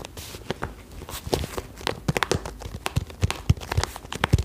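Long nails tap and scratch along a hollow, cylindrical holographic pencil case of iridescent croc-textured vinyl held upright. A quick, uneven run of short, dry, low hollow taps is heard, with brief bright scratching flicks between them. Each tap dies away almost instantly.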